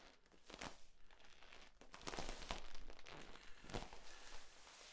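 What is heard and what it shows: Both hands squeeze and rub along the ribs of a long, hollow, flexible yellow corrugated plastic tube. The result is quiet, crinkly, ridged scraping in a steady series of soft bursts, with a few brighter swishes standing out in the middle.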